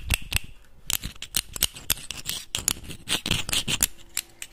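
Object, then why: Closed clam shell. A closed clam in its hard shell, held in both hands, is scratched and tapped with the fingernails. The result is a rapid, uneven series of sharp, bright clicks mixed with short scraping sounds, and each click dies away almost at once.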